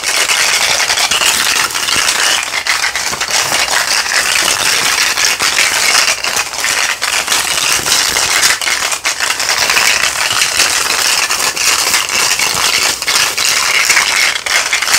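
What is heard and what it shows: A small mesh net bag of hollow plastic toy skulls is held close up and squeezed and shaken with the fingers, making the skulls rattle against each other. The sound is a dense, continuous, bright clattering and crackling with no low end, steady in loudness for the whole fifteen seconds.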